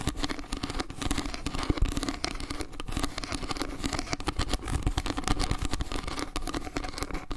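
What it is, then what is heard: Wooden log-slice trivet. Long nails scratch quickly along a round wooden log-slice trivet, first at its edge and then across its face. The result is a dense, rapid run of crackly, scraping taps, heavy in the low end with a faint bright hiss.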